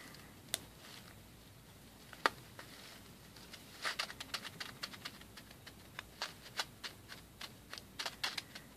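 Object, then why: Plastic pearl beads in a plastic bag. Fingertips press and rub white, rice-shaped plastic pearl beads through a small clear plastic bag packed with them and held up in both hands. A few sharp, isolated clicks come first, then from about four seconds in a denser run of quick, bright plastic clicks and faint crinkles, each dying away almost instantly over a quiet background.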